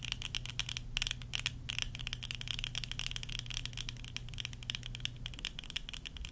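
Long nails tap rapidly on worn tortoiseshell plastic eyeglass frames with lenses, making a dense stream of quick, light, bright clicks with a sharp plastic tick around 3.3 kHz. A steady low hum runs beneath the tapping for most of the clip.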